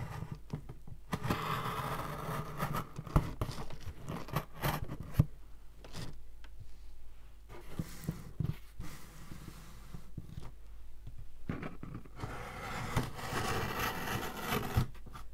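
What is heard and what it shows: Fingertips and nails rub and scratch along the top and taped seam of a large, flat, closed corrugated cardboard shipping box with a tape strip, which looks empty and hollow as it lies on a wooden floor. The result is a steady, dry scratching and rustling with a low, hollow body, broken by brief pauses and a few sharper clicks.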